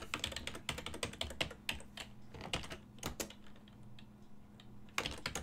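Fingertips press the keys of a full-size black and silver plastic desktop keyboard with a hollow housing, making rapid, bright clicking typing taps. The taps come in quick bursts, thin out to a few soft clicks in a lull near the end, then pick back up. A faint steady low hum runs underneath.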